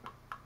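Two dull thumps on the plastic body of an action camera, each a short knock with a brief mid-range tone that dies out quickly. The body sounds solid rather than hollow, showing it is built solidly compared with the Dragon Touch Vision 2 Pro 4K action camera.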